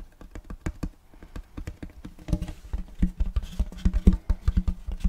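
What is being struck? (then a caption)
Round wooden serving tray. Fingertips and nails tap and rub across the face and rim of a large, flat, round wooden serving tray with a checkerboard block pattern, solid and empty. A quick, steady run of dull, low, woody taps dies away instantly with no ring. Partway through, the taps grow louder and are mixed with soft scratchy rubbing.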